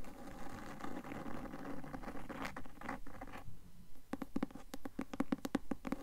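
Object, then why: Cloth-covered hardcover book. Long nails scratch rapidly across the cloth front cover of a closed, solid, medium-sized blue cloth-covered hardcover book held upright, making a dense, soft rasping for about the first three and a half seconds. After a brief quieter gap, the nails switch to quick, irregular taps on the cover, each a dull, low thud that dies away almost instantly.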